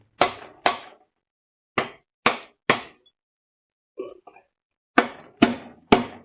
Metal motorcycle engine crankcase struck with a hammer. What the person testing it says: that sounds a bit hollow